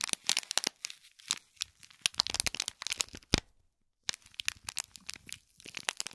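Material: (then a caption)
Plastic film. Fingertips and nails scratch and crinkle the plastic film around a small gold foil-wrapped gift box. Many sharp, bright crackles come in dense clusters, with a brief silence at about 3.5–4 seconds before the crinkling resumes.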